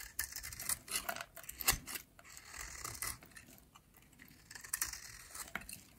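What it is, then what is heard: Dry soap bar scraped with a blade. A metal utility blade scrapes crumbly shavings off a dry, solid, yellow oval soap bar held in hand. The quiet, bright, crackly scraping strokes come in short bursts, with a softer stretch in the middle before a final run of crisp scrapes.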